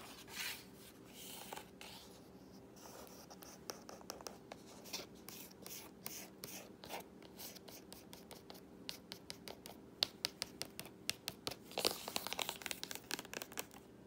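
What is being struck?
Laminated cardboard board book page.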